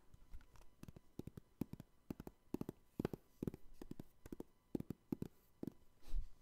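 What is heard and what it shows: Fingertips tap and scratch the top and front surfaces of a clear, hard plastic trading card case block, a hollow case holding trading cards. The result is a quick, uneven run of short, dry clicks and taps with almost no ring, mostly low and soft. It ends in a broader, duller rub.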